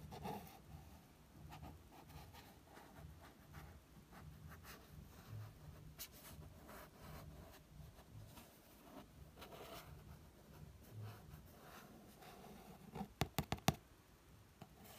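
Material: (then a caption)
Card. A fingertip slowly traces across the card front cover of an "Elizabeth is Missing" paperback book, making a soft, continuous dry rubbing and brushing sound. Near the end come five quick, light, sharp taps on the cover.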